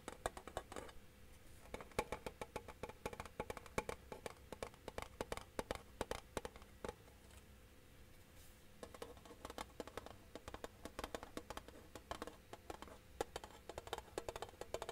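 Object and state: Metal tin case.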